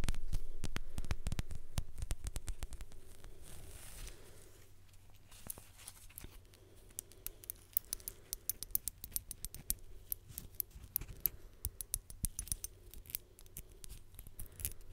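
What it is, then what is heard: Leather belt. Fingernails scratch and tap along the strap of a black leather belt, held first vertically and then horizontally close to the microphone. Quick, fairly steady dry taps and clicks sound over soft scratchy rustling and a low, muffled handling thump. The sound is loudest at the start, fades, then the sharp taps return more sparsely.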